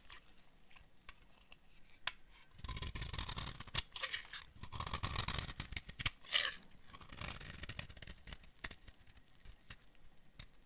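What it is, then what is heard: Dry bar of soap being carved. A metal blade carves and scrapes flakes off a solid, hand-sized tan bar of dry soap. Short crisp clicks and cuts alternate with longer bright, rasping scrapes that swell between about 2.5 and 8 seconds, then ease back to sparse ticks.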